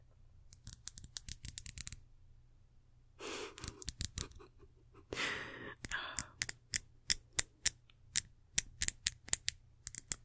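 Long nails tap and scratch along a small, ridged, reddish glass perfume bottle with a gold cap, held close. A quick run of sharp, bright clicks is followed by a pause and two short rasping scratch passes. Then comes a steady series of crisp, high-pitched taps with almost no ring.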